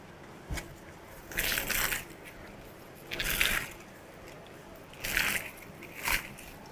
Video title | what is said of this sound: ✨ lachha pratha kaise banaye. | आवाज से पता चल रहा है कितना करारा बना है।